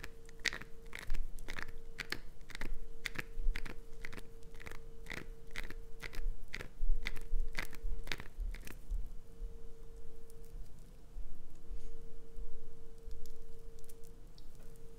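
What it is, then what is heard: Glycerin soap bar. Long acrylic nails scratch and dig into a solid green translucent glycerin soap block held in both hands. For the first nine seconds, crisp, bright clicks repeat at a steady pace, then give way to softer, crunchy scratching over a faint constant hum.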